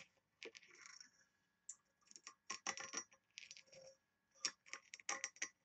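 Long nails tap and scratch the patterned lid and ring-handle area of a small, oval, engraved, embossed brass box that looks hollow. Bright, quick metallic ticks and raspy scratching strokes come in irregular clusters separated by short pauses. Each tap dies almost instantly, leaving a dry, high, clicky texture with no low body.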